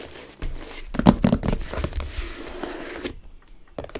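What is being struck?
Small closed cardboard box.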